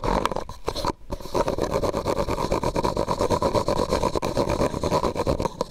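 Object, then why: Thin disposable plastic cup. A medium white disposable plastic cup, hollow and empty, is held over the microphone and tapped and scratched with fingernails. Quick, irregular clicks and dry scraping run steadily through the clip with a hollow tone around 1 kHz, pausing briefly near the one-second mark.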